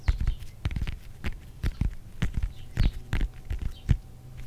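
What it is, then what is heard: Whole orange tapped and scratched. Fingertips and nails quickly tap and scratch the peel of a whole fresh orange, palm-sized and solid, held close in front of the microphone. A rapid, uneven run of soft, dull, low thumps sounds with faint bright scratchy edges, each dying away almost at once.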